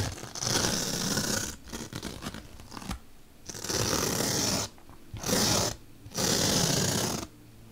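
A bottle brush is dragged and poked along a slit in a large, solid, white melamine foam magic eraser block by a long-nailed hand. Bursts of dry, bright, scratchy rubbing alternate with choppier, softer scraping and brief quiet gaps.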